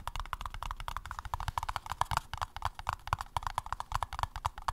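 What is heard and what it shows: A paper cup is tapped in a quick, steady flurry of light, dry taps. Each tap gives a short hollow tone near 1 kHz over soft low thumps, dying away almost at once.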